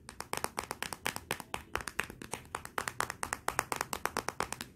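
Long nails tap rapidly on the glossy glass back of a Motorola smartphone lying face down on black cloth. A quick, uneven run of sharp, dry clicks with a bright, clacky edge and almost no ring or low end.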